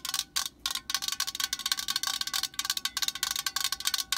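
Long nails tap rapidly on the body of a cylindrical metal aerosol spray can lying on its side. The result is a quick, irregular run of bright, tinny clicks with a chime-like ring that dies away almost at once.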